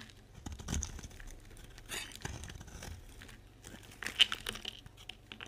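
A solid pink bar of dry soap, held in the hand, is scraped and cut with a metal utility knife blade, with pink shavings piling nearby. Dry, bright crinkling and scraping runs throughout, broken by short crisp cuts and one sharp snap just past four seconds. The sound is quiet, high-pitched and dies away almost instantly.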